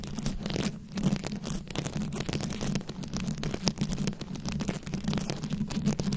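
Very long acrylic nails on both hands scratch and tap a round, fist-sized microphone head covered in glued-on plastic rhinestones and beads. The result is a steady stream of dense, crackly scratching with quick clicking taps over a heavy low, boomy rumble that swells and dips throughout.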